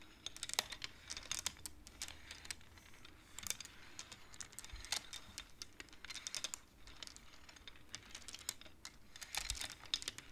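Fingertips slide the painted wooden beads of a wooden abacus along its rods, clacking them together. Quick bursts of short, bright, dry clicks come in clusters with brief pauses in between, each clack stopping almost instantly over a quiet background.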